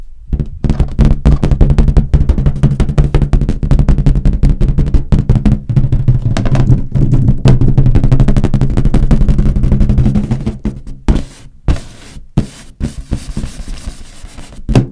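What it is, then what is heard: Inflated latex balloon tapped and scratched. Long nails tap and scratch a large inflated, hollow green latex balloon beside the microphone, while a red balloon sits nearby untouched. Rapid, deep, booming taps come in a dense, uneven stream for about ten seconds, then thin out into quieter, sparser taps and scratches.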